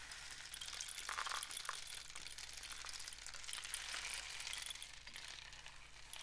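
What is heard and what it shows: A painted cardboard rain stick tube is tilted while fingers tap and rub along its outside. A steady, bright, sizzling patter of tiny clicks trickles through it, with a few sharper taps standing out over a faint low hum.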